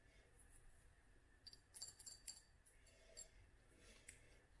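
Long nails tap a small clear glass dropper bottle with a black dropper cap, filled with oil and dried flowers. Several quiet, bright clicks ring briefly against a soft low background hiss.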